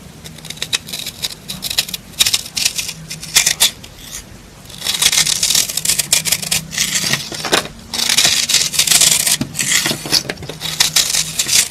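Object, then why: Soap bar scraped with a knife. A knife with a green handle scrapes crumbly shavings off the surface of a hand-sized solid red soap bar held in the hand. Bright, dry scraping strokes crackle in quick bursts, some long and continuous, others short and choppy, with a faint low hum underneath.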